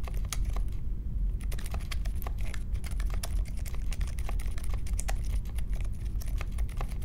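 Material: Plastic.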